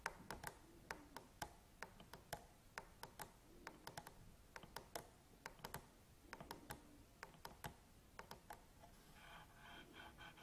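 Long nails tap quickly on the plastic top and grip of a black Canon DSLR camera body resting on a table, making a rapid run of crisp, short clicks with a bright edge. Near the end the taps give way to a softer, steady buzzing rustle.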